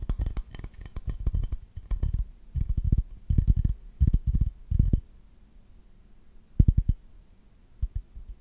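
Fingertips and short nails rapidly tap and scratch an empty, solid glazed ceramic owl plate held up close. Bursts of quick, dull, low clicks with very little ring alternate with quieter stretches of soft scratching, then a few sparse taps near the end.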